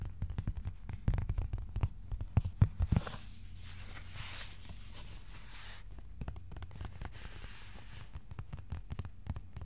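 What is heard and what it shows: A thin, flat white cardboard sheet about A4 size rests on the lap and is then held upright while fingertips tap it. The taps are quick, dull and low, with almost all their weight in a deep thump and very little brightness. The loudest taps come early, then the tapping softens under a faint airy hiss before picking up again near the end.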